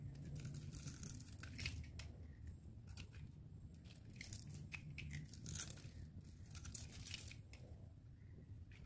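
A metal utility knife blade scores a grid into a solid, dry, palm-sized pink oval bar of soap held in hand, then shaves the surface off as small cubes. Quick, crisp scraping and crunching bursts flare bright over a steady low hum, each cut fading almost at once.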